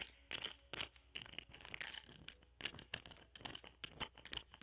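A round, palm-sized, solid cluster of purple amethyst points ringed by clear quartz points, resting on green satin, is scratched and tapped with a small metal spatula tool with a wooden handle that has a small microphone attached. Quiet, bright, dry scratches and clicks come in quick bursts, with a glassy tone around 3 kHz and almost no ring after each touch.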